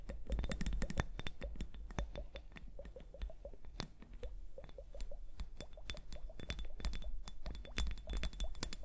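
Long painted nails tap quickly and unevenly on a small clear plastic liquid hourglass, full of liquid and beads, held upright. The taps are short, bright clicks with little ring, some carrying a faint hollow tone, over a low steady rumble.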